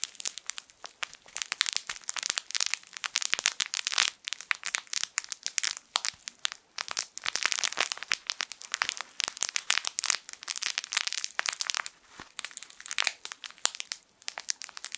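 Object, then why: Plush fabric toy with plastic crinkle film inside. A hand-sized, soft and flexible yellow sun-shaped plush baby crinkle toy with crinkle film inside is held in both hands close to the mic, squeezed and scratched with fingertips. It produces a dense, continuous stream of sharp, bright crinkling and crackling bursts with almost no low end, swelling and easing in short waves over the whole clip.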